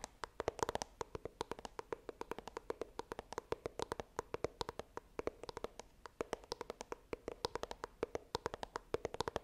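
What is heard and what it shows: Long nails tap rapidly across the printed front of a small, hollow, white iPhone retail box made of coated cardboard, held upright. Dozens of quick, dry clicks with almost no ring each carry a hollow midrange tone, in an irregular rhythm of bursts and short pauses.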